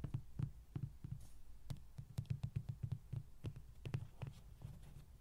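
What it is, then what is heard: Hollow vinyl toy. Fingertips and nails tap the cheeks and sides of a hollow yellow vinyl Rody toy standing on a table. About two dozen quick, soft, hollow thumps come at an uneven pace, each with a low, drum-like body and a tiny bright click, and none of them ring on.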